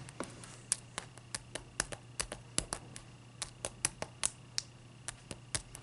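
Long dark-purple nails tap a clear, solid ice cube resting on a white towel, and the cube is tilted and set back down. About two dozen quiet, sharp, bright clicks come in an uneven series over a faint low steady hum. Each tap dies away almost instantly.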